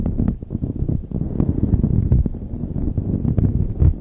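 A light blue knit beanie stretched over a microphone is scratched by both hands with long nails. The result is a dense, continuous, muffled scratching and rustling, heavy in low frequencies, with rapid overlapping scrapes and no clear pauses.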